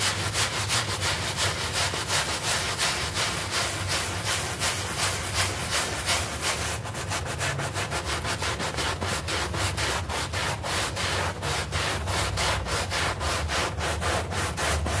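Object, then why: Artificial-grass doormat scrubbed with a hand brush. A hand brush scrubs a small, wet, green synthetic-turf doormat covered in foam while the other hand steadies the mat. The result is a continuous, raspy, bristly scrubbing made of rapid back-and-forth strokes, roughly three per second, with a bright, hissy top and a low rumble underneath. The strokes grow more sharply defined in the second half.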